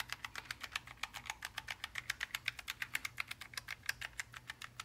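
A single gloved index finger taps the keys one by one on a black, low-profile Logitech G915 TKL linear mechanical gaming keyboard of plastic and aluminium lying flat. About three dozen short, bright clicks come at roughly four per second in a slightly uneven rhythm. Each click centres near 2 kHz and dies away almost at once, with very little low end.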